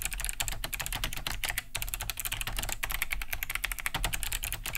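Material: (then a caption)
Plastic. Both hands type fast with their fingertips on a large beige Cherry G80-3000 mechanical keyboard with a hollow plastic case and thick plastic keycaps, resting on a wooden desk. A dense, rapid stream of clicky key-switch taps keeps going for the whole clip, with a bright click on top and a low thock from the hollow casing.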